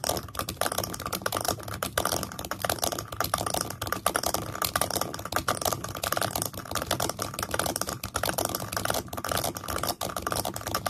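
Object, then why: Small wooden stand. Fingertips and nails tap and scratch the base and sides of a small pale solid-wood stand with a grey flat piece set in it. The result is a steady stream of quick, dry, clicky taps with short scratchy rubs between them. Each tap dies away almost at once, with a light woody tone around 1.2 kHz.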